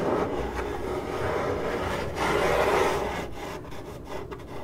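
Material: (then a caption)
Cardboard. Long acrylic nails on both hands scratch the side of a hollow, printed corrugated cardboard box, making a steady dry rasping that sits mostly in the low-mid range. The scratching swells to its loudest stretch around the middle, then thins out into quieter, broken strokes toward the end.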